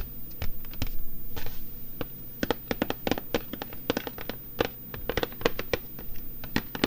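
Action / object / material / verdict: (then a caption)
tap / cardboard box with book and pencils inside / cardboard / none. Fingertips of both hands tap, rub and scratch across the printed lid of a large, flat cardboard box for a Christmas colouring book kit, with coloured pencils visible along its bottom edge, lying on a table and hollow inside with a book and pencils. Irregular runs of short, dry taps sound as low, hollow thuds with brief bright clicks that die away almost at once. Soft rubbing and scratching fill the gaps between them.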